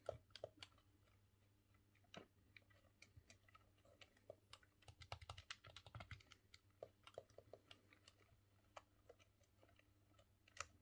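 A thumb works the analog stick and presses the buttons of a green, hollow plastic N64 controller, producing quick, dry plastic clicks and taps. The clicks come in irregular bursts, some clustered closely together, over a faint steady low hum.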